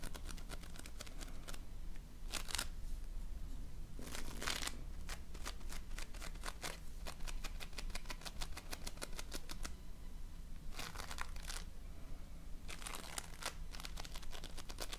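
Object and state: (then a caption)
Floam (foam-bead slime). A flat patty of multicolored floam, polystyrene foam beads in slime, is pressed and rubbed with fingertips and nails. It gives a steady run of fast, sharp crackling clicks and pops, with a few longer, brighter crinkly bursts. A low, constant hum sits underneath throughout.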